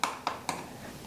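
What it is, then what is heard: Light, hollow-sounding water-damaged wall. Three gentle taps on a water-damaged bathroom wall, where the board and edge trim are missing, each giving a light, hollow-sounding knock with a short, bright ring. The wall is tapped softly for fear of breaking it. The damage comes from water: a part has rusted, possibly iron, and wood touching the water rots.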